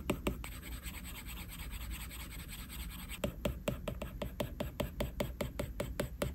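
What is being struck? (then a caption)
Plastic stylus tip on a glass tablet screen. A plastic stylus tip scratches across a flat, solid iPad glass screen, drawing eyelashes in fine strokes. A soft continuous scratch in the first half gives way to quick, short, bright flicks, about two to three per second, over a steady low hum.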